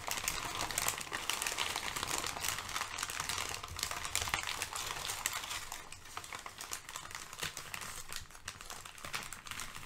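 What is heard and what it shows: Crumpled sheets of thin brown kraft packing paper on a fluffy rug are crinkled, shifted and pressed flat with fingertips and long painted nails. The result is a steady stream of bright, dense crackles and rustles with no clear pause.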